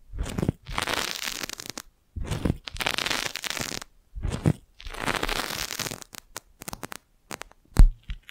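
A clear, crinkled, thin-walled plastic magic balloon bubble, hollow and fist-sized, is held beside the mic and tapped and scratched with long nails. Long bursts of broadband crinkly scratching alternate with short gaps. They give way to a run of sharp, separate taps, and one louder tap lands near the end.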